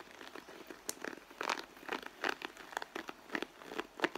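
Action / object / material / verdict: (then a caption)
scrape / pebbled leather handbag / leather / none. Long nails scratch the side of a red pebbled-leather handbag near the stitching, the bag sounding hollow and soft. Dry, crinkly scraping comes in short bursts with sharper peaks, mostly in the mids and highs with no low end.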